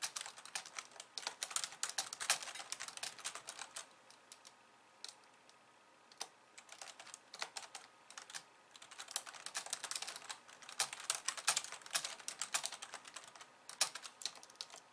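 Long nails type fast with both hands on a slim pink plastic keyboard with white keys, producing dense bursts of bright, sharp clicks with almost no low end. The typing pauses into near-silence briefly around four to six seconds, then picks up again in rapid flurries.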